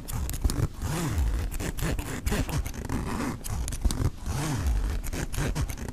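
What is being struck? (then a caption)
Nylon backpack zipper with metal pull. Fingertips slowly pull the metal pull of the front pocket zipper on a black mesh nylon backpack. The result is a continuous, low-heavy rasping zip, broken by sharp bright ticks and rising-and-falling low tonal sweeps as the pull moves back and forth.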